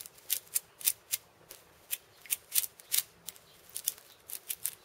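A hand-sized steel bead cabasa, a hollow wooden cylinder wrapped in loops of steel ball chain, is tapped and scratched with fingertips on its metal beads and wooden rim. Quiet, bright, crisp rattling clicks come in short bursts with almost no low end and very little ring after each touch.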